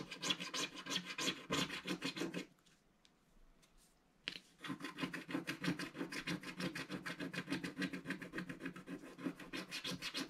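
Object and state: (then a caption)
Scratch-art coated card being scraped. A wooden scratching stick scrapes the black coating of a flat, solid scratch-art card page in a mandala book with quick, short strokes, about three per second. The result is a bright, dry, rasping scratch. It stops for a near-silent pause of almost two seconds, then resumes at the same steady pace.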